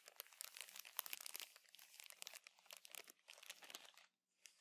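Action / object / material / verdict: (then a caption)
scrape / thin plastic bag of cotton pads / plastic / none. A clear plastic bag of cotton makeup remover pads with a teal label is held, crinkled and scratched with fingertips and nails. Dense, bright, quiet crinkling and scratching rustles on with no low end, then stops just after four seconds before a brief final crinkle.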